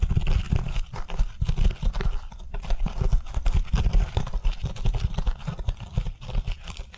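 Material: Scouring pad.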